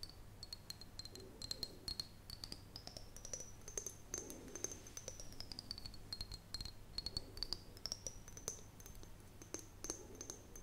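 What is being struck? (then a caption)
Glass jar with metal lid. An empty, hand-sized clear glass mason jar with a metal screw lid is held in both hands and tapped and scratched on its side with long painted fingernails. Rapid, crisp nail clicks and taps sound over a soft scratching hiss, while a thin, high glassy ring slowly glides up and down in pitch. A faint low hum sits underneath throughout.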